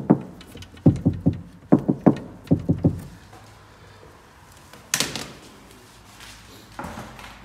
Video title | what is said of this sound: 2019 Seat Leon FR Door Soundproofing - Kapı Ses Yalıtımı - Sound Treatment & Deadening - CTK Vibra. | bu denk gelen yerler zaten bu şekilde orijinalden yalıtımlı olduğu için mesela şuraya vuruyorum